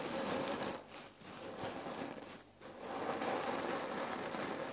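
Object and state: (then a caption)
Cotton neck pillow filled with cherry pits. Hands squeeze a full red cotton neck pillow filled with cherry pits, then long nails scratch and tap its fabric. The result is a steady, grainy rustle and crackle of shifting pits, with a faint midrange tone and bright hiss, briefly dipping twice before building back up.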